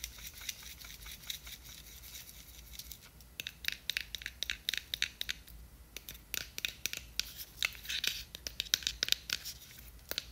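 Long nails scratch and tap a small, clear, square plastic jar with a white lid, filled with glitter, and the jar is turned over. Quiet, bright scratching gives way after about three seconds to many sharp, dry ticks and clicks that die out almost instantly, with a crisp rustle centred near 3.8 kHz and almost no low end.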